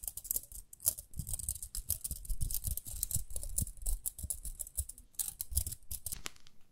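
Long nails scratch along the rim of a small round pink plastic hairbrush. A steady run of quick, dry scratching strokes gives a bright, crackly texture over soft low thumps, with each stroke stopping short and no ringing.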